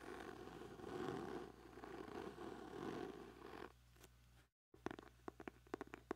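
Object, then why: Hardcover notebook cover. A small black hardcover notebook, closed and held in both hands close to a microphone, has its cover scratched with fingertips and nails, making a steady, soft rasping scrape for nearly four seconds. After a brief pause and a moment of silence, a quick run of light, crisp taps with sharp attacks and almost no ring follows.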